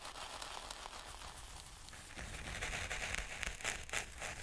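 Wooden stick tips are poked again and again into fine, speckled black sand or grit in a white plastic tray. This makes light, bright crackling pokes over a soft, steady hiss. The pokes grow louder and denser in the second half, with a low rumble underneath.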